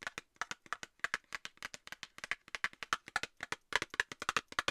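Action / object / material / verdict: tap / small cardboard box / cardboard / none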